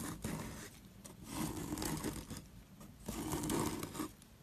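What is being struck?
Soap block scraped by a metal loop tool.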